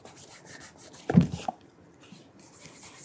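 Fingertips rub polish along the upper of a burgundy calf leather cap-toe oxford with a rubber studded sole, near the sole edge, while the shoe is held upside down in one hand. Faint, low, soft rubbing swells into a brief, louder, muffled scuff cluster with a small tick near the middle of the clip. The sound then fades back to quiet, breathy friction.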